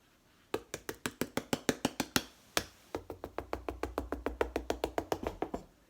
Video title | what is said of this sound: How to Choose The Best Watermelon Every Time - Sweet, Juicy, Red & Ripe | tap on them to see if they sound full or hollow as well. I don't know if you can hear this. See? It's absolutely solid.